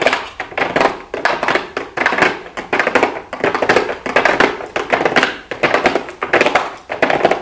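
Long blue acrylic nails tap rapidly on a small, hollow pink cardboard makeup box with a clear plastic window, in quick typing-like flurries. The taps are dry, short clicks with a hollow midrange body, coming in dense bursts with brief pauses between them.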